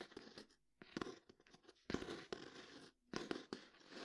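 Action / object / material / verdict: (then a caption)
scrape / cloth-bound hardcover book / cloth, board / none. Fingertips and nails scratch and tap the textured cloth cover of a closed, thick, solid hardcover book resting on a table. Quiet, dry bursts of broadband scratching and short taps come in uneven clusters separated by brief silences, with no ringing after each contact.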